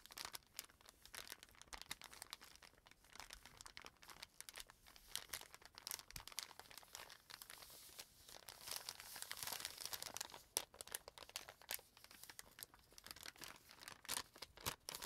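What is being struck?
Kraft paper bag.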